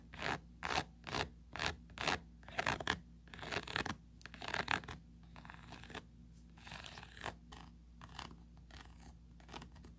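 Long pointed nails scratch along the ribbed rim and inner ridges of a small, empty oval plastic mesh tray with a raised ridged rim. Short, bright, raspy strokes repeat at an uneven pace and are loudest in the first half. They then give way to softer, more continuous scraping.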